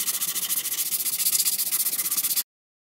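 A hand rubs a sandpaper-wrapped sanding block over a solid wooden ST-style electric guitar body in grey primer, with its neck attached, lying flat on a dark mat. The rapid back-and-forth strokes make a steady, bright, hissing rasp that pulses with each pass. The sound runs for about two and a half seconds, then cuts off abruptly.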